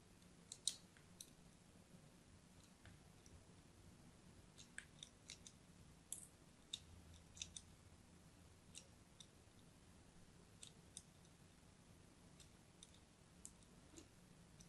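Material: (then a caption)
Soap. A thin blade scratches lines into the end of a solid purple-and-white striped bar of soap held in the hand. About twenty quiet, crisp, bright scraping clicks are heard, each dying away almost instantly over a faint low hum.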